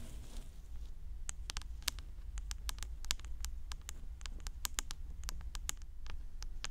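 Long orange acrylic nails scratch and tap the hard surface of a hollow white plastic 3Dio binaural microphone ear housing. A steady stream of quick, sharp, bright clicks and taps rings out over a constant low hum.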